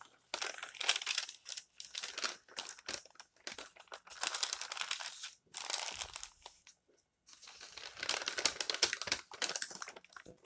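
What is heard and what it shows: Fingertips rub and smooth the thin pages of an open glossy paper magazine lying flat on a table, then turn them. Bright, crinkly paper rustles come in bursts of a second or two, separated by brief silences. Almost all of the sound sits in the high range, with no low-end body.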